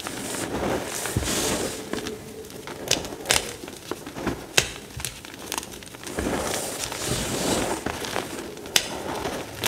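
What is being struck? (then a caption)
Pile of crumbled gym chalk chunks. Flat fingers press and rub a dry heap of crumbled pale green-white gym chalk chunks, then fingertips pinch and crush the pieces. Two stretches of gritty, bright crunching and rubbing are separated by a quieter gap, with sharp crisp snaps of breaking chalk scattered throughout.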